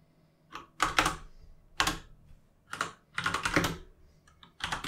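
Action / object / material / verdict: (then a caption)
tap / mechanical keyboard with plastic keycaps / plastic / none. Two hands type with their fingertips on a full-size mechanical keyboard with plastic keycaps resting on a desk. Bright, clacky keystrokes with a low thock land in uneven bursts and quick runs, separated by short quiet pauses. Each click dies away fast.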